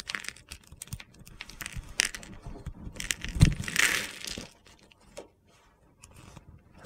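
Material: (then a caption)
Soap. A hand-sized solid bar of soap with an iridescent glitter coating and a mint-green interior, held in one hand, is scraped and carved with a metal utility-knife blade. Crunchy flakes shave off in a run of short, gritty scrapes and crackles, with a louder crunch near the middle before the sound thins out to quiet scratches.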